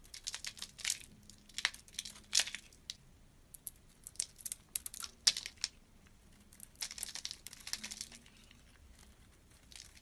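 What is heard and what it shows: A solid dark blue oval bar of soap held in the fingers is carved and scraped with a small utility blade, sending blue flakes falling. Bursts of crisp, dry crackling and scratching come in uneven clusters, bright and high with almost no low end. The sounds are short and quiet, with tiny shavings rustling between the strokes.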